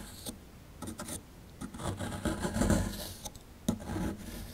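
A plastic chisel rubs and scrapes at a solid plaster fossil dig block held in the hand, loosening powder from the plaster. The sound is a quiet, dry, gritty scratching in uneven bursts, weighted toward low frequencies, with brief louder scrapes and faint bright grit.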